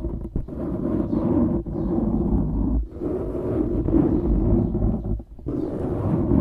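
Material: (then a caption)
Foam. Fingertips of both hands scratch and squeeze a dark grey foam windscreen on a microphone, giving a dense, muffled scratching rumble. The sound is heavy in the low end with no high content and breaks into brief dips of near-silence between bursts.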